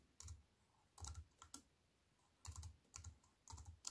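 Fingertips with long white nails type on a compact wireless keyboard with black plastic keys in a thin silver aluminium frame, resting on a wooden table. Short clusters of crisp, bright key clicks come with soft low thumps, separated by brief quiet pauses, and each click dies away almost instantly.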